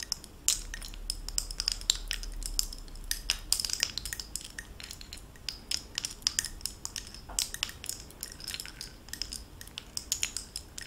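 A gold-tone costume bib necklace with oval faceted blue stones set in gold-tone metal bezels is jostled with the fingertips and long nails so the pieces clink together. It produces a steady stream of quick, bright, tinkly metallic clicks and chimes that die away almost instantly, over a faint low hum.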